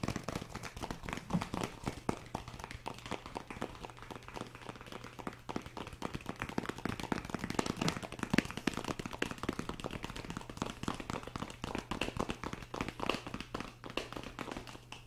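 A small clear plastic lidded cup full of blue kinetic sand is held up in one hand and tapped rapidly with fingertips and nails, producing a dense, continuous run of short, dry clicks and taps. A steady low hum sits beneath the tapping throughout.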